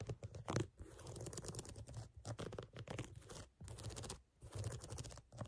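Long nails scratch along the edge of a sneaker's brown, lugged, solid rubber outsole. The result is a dense, rapid, low-heavy scratching and crunching, broken by a few brief pauses.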